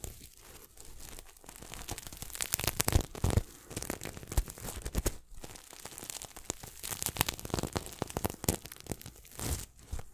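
A red and silver sequin throw pillow is held close to the mic while fingertips scratch and flip its sequins. The result is a dense run of crisp, bright clicking and rasping crackles, like tearing or crinkling, with brief louder bursts over a low rumble.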